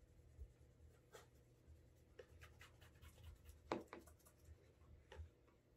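A cotton cloth wrapped on the fingers rubs and buffs the upper and heel of a brown leather cap-toe Alden Straight Tip Blucher shoe held in hand, working up a wax burnish. Soft, quiet swishing strokes come in short brushy bursts over a low, steady background, with one sharper, louder scuff near the middle.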